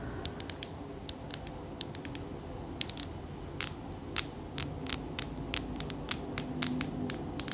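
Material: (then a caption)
Crystal. Long nails tap and rub a solid, clear, palm-sized crystal ball, making a rapid, irregular series of sharp, bright clicks. The clicks die away almost instantly over a soft, steady scratching and rubbing hiss.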